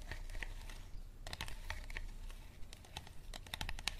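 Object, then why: Thin plastic water bottle. A clear, thin, empty and hollow plastic water bottle is gripped in both hands while fingertips and nails squeeze and scratch its ridged plastic. Quick, dry crinkles and bright scratchy ticks come in uneven bursts over a low rumbling bed, each click dying away almost instantly.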